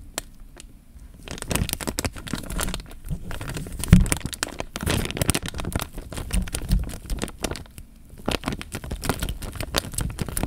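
Fingertips squeeze, crinkle and rub the film of a full, clear, thin, flexible plastic bag filled with water, making the water slosh inside. After a quiet start, dense crinkling and crackling sets in over a low, watery slosh, with a sharper crack near the 4-second mark. The sound eases off briefly near 8 seconds before the rustling picks up again.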